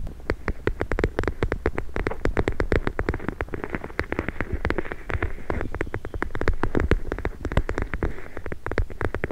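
A hand-sized clear plastic pouch, soft and filled with small teal gel beads, is held in one hand and tapped and squeezed with long nails and fingertips. The result is a dense, steady stream of quick, dry clicks and soft squishy taps with a low, muffled body, patterning like rain on a surface, each tap dying away almost instantly.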